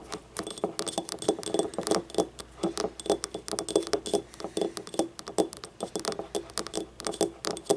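A small, hollow, yellow ribbed ceramic paint cup is tapped with long nails, first on its labeled base and then upright on its outer wall. The result is a rapid, irregular stream of light, bright clicks and clinks with a faint tone around 400 Hz, each dying away almost instantly.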